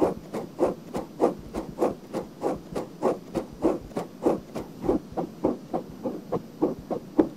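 Long nails scratch a pale pink silicone binaural microphone ear in repeated strokes. About 17 soft, scratchy rubs land in a loose, steady rhythm, each short and dry with no ring. The rubs center in the low-mid range, with a faint bright hiss over a quiet background.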